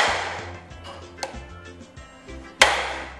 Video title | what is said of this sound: WE LOVE SR！VOL.05 ステムベアリング編★byYSP横浜戸塚 | 入ると音が変わりますねこのようにカンカンって言いましたねこれでえベアリングの圧入が完了となります